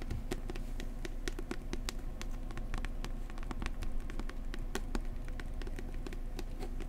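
A book about New Zealand is tapped gently up close with the fingertips in a quick, steady patter of soft, short taps. Each tap has a dull low thump with a faint bright click, over a constant low rumble.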